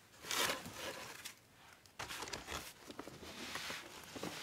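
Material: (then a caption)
Plastic. Gloved hands press and rub the top of a large yellow printed plastic garden soil bag full of soil, crinkling the plastic. A loud, bright crackling burst opens the clip, fades to a soft rustle, then returns as a steady run of sharp, papery crinkles.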